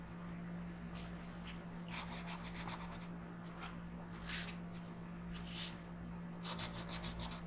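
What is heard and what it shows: A blue colored pencil tip is rubbed back and forth in small strokes across a flat printed paper coloring book page. Bursts of dry, bright scratching come in quick rhythmic clusters, separated by quieter gaps, over a steady low hum.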